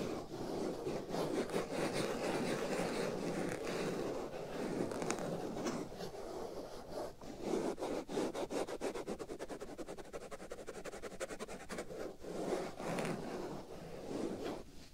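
Fingers scratch and rub a black foam windscreen fitted over the right ear of a binaural microphone. The result is a dense, close, crackling rustle centered in the low midrange, with brief bursts of rapid, rhythmic scratching strokes partway through. Between those bursts come slower rubbing passages.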